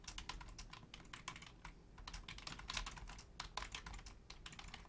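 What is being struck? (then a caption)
Plastic membrane computer keyboard. Both hands rapidly tap the membrane keys of a black plastic Logitech full-size keyboard with a hollow shell, using long painted nails and fingertips. The result is a quiet, steady stream of quick, bright, clicky taps that die away fast, over a constant low rumble.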